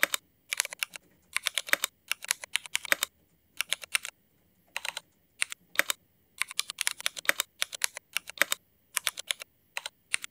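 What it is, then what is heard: Mechanical keyboard with ABS plastic keycaps. Fingertips of both hands type on a Cherry MX mechanical keyboard with black ABS plastic keycaps, making bright, sharp clacks with almost no low end. The keystrokes come in quick bursts separated by short pauses, and each one dies away almost instantly.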